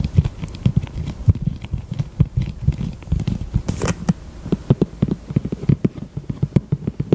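A small, thin pink plastic eyelash tray, held in both hands, is tapped with long acrylic nails. Quick, dry, low clicks come in a steady, uneven run, with a brief brighter rustle near the middle. Each tap dies away almost instantly.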